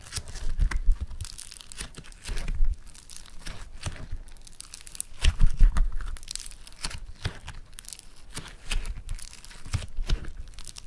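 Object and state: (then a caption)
Foam-bead clay (floam) being squished. Yellow floam foam-bead clay is kneaded, pulled and pressed with fingertips and thumbs. It gives off dense bursts of bright crackling and crinkling, like fine tearing, over soft low thumps. The louder bursts come in clusters.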